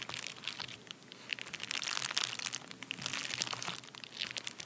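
Both hands press, tap and scratch their nails across the surface of a flat, empty padded paper bubble mailer. The result is a steady stream of bright, crisp crinkling and crunchy scratching with dense, quick clicks and almost no low end.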